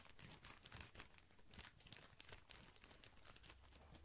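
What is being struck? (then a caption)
Thin plastic film wrapped around a pack of cotton pads. A tall white cylindrical pack of cotton pads in thin plastic film is held up close to the microphone while fingertips squeeze and scratch the wrap. The film gives off a dense, steady run of bright crinkles and crackles over a soft low rumble, with quick snaps that stop almost instantly.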